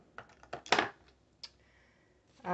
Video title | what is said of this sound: #Arrtx Acrylic Marker Product Review: These Markers are Fabulous!!! | there's a little ball in there you can hear it